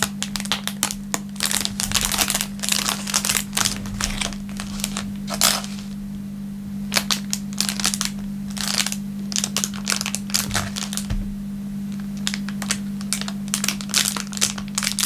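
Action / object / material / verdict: scrape / thin clear plastic film wrapper / plastic film / none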